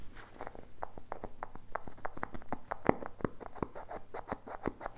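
Fingertips tap a small, hollow blue and teal plastic tub with a lid and a printed label, held close to the mic. The taps come as a quick, uneven patter of short, dry, hollow clicks with almost no ring, over a steady low hum.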